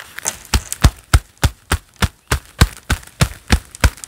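A pair of black leather gloves worn on both hands clapping together quickly in a steady rhythm, about three claps per second. Each clap is a short, dull, low thud with a brief bright leathery slap on top that dies away almost instantly.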